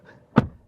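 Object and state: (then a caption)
Solid-sounding car door closing. The rear door of a 2025 Lynk & Co 06 crossover is closed once, giving a single short, low thunk that dies away almost instantly. The solid, reassuring sound points to good build quality.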